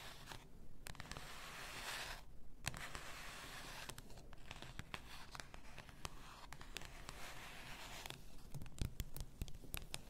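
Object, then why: Glass bath salt bottle. Long nails scratch and tap the upper body and shoulder of a full glass bath salt bottle. Steady, bright scratching hiss runs through most of the clip, pausing briefly twice early on, with many sharp, short clicks that grow denser and louder toward the end.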